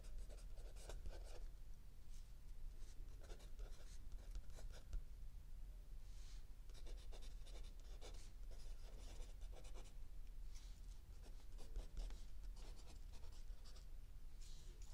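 A mechanical pencil writes continuously on a lined paper page of a spiral-bound notebook lying flat on a wooden table, while an open paperback book sits still under the other hand. Quiet, dry scratching comes in short bursts of bright strokes with brief pauses between them, over a steady low hum for the full fifteen seconds.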